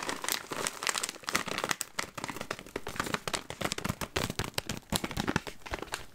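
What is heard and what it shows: A full green Smartfood plastic popcorn bag, closed with a purple clip, is crinkled and squeezed with the fingers. This produces dense, bright crackling and crinkling at a fairly quiet level. Quick snaps rise and fall throughout.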